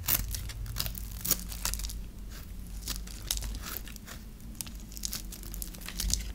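A metal knife blade scrapes and carves a hand-held, dry, solid lime-green bar of soap, shaving off crumbly pieces. Crisp, bright crunching and crackling bursts repeat through the clip over a steady low hum.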